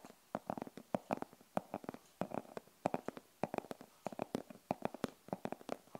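Long purple fingernails tap and scratch the surface and edges of a hand-sized rigid glasses case covered in printed denim-look fabric or faux leather, probably hollow and closed. About 31 short, dry, muffled clicks land in an irregular rhythm with no ring, centered in the low mids, with faint scratchy rustles between them.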